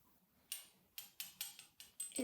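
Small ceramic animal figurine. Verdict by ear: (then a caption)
Hollow. Eight light taps on a small, hollow ceramic animal figurine produce sharp, bright clicks that fade almost at once. Each one has a hollow ring, confirming the figurine is ceramic or china rather than plastic.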